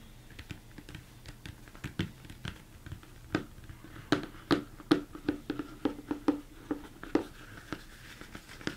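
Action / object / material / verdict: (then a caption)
tap / upside-down plastic mixing bowl / plastic / none. Fingertips and nails tap on the dome of a large, hollow, empty mixing bowl, likely plastic, turned upside down. Quick, irregular taps come in a steady run, each with a short hollow knock around 300 Hz and a brief bright click that dies away almost at once.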